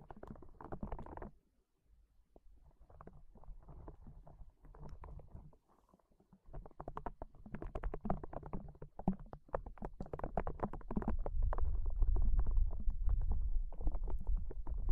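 A small, hollow, yellow-green soft rubber spiky ball is held in one hand and squeezed repeatedly with the fingers. It makes a dense run of low, muffled squishes and soft rubbery crackles, with brief pauses near the start and middle. The squeezing grows louder and fuller over the last few seconds.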